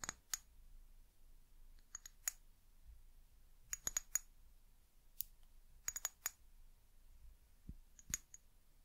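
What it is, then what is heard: Small glass bottle tapped with nails. Long nails tap a small brown amber glass eucalyptus oil bottle with a paper label and a white plastic cap. The result is quiet, sharp, bright clicks that come in irregular small clusters. Each click dies away almost instantly, with faint hiss between taps.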